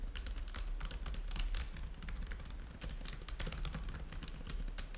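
Both hands type rapidly with their fingertips on a black laptop keyboard with plastic chiclet keys and a trackpad, the laptop lying flat on a white table. Dense, bright plastic key clicks patter continuously over a steady low hum.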